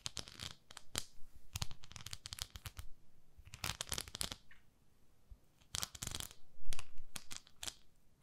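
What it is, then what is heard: Silicone cleansing pad scratched. Long nails scratch the nubbed face of a palm-sized beige textured silicone facial cleansing pad. The result is irregular clusters of quick, bright, crackly scratches separated by short quiet pauses.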